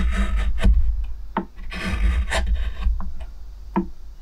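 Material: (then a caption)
Wood. A steel spoon gouge, gripped by fingers, carves and scrapes near the rim of an oval pale wooden plate with a shallow grained hollow and a few shavings. Short, dry rasping scrapes come in an uneven rhythm over a steady low hum, with little bright content.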